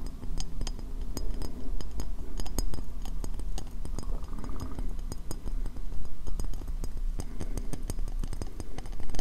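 Fingernails tap and scratch quickly on the base rim of a medium, hollow, empty white ceramic bowl turned upside down over a microphone. Rapid sharp, bright clicks and scraping sound over a deep, boomy low hum that fills the enclosed bowl throughout.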